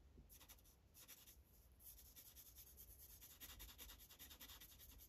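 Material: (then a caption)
Paper. The felt tip of a blue Sharpie marker, held in the fingers, rubs continuously across a thin printed coloring page on a white clipboard in quick coloring strokes. The result is a soft, bright, hissing scratch that comes in uneven bursts of rapid back-and-forth strokes over a low, steady rumble.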